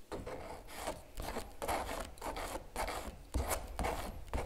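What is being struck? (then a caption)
Stretched canvas print on a wooden frame, scraped with a metal palette knife. A metal palette knife scrapes repeatedly across a large giclee print on canvas stretched over a wooden frame, hollow behind, and then fingertips rest on the canvas. Each rasping, rubbing stroke carries a low, hollow drum-like resonance from the stretched canvas.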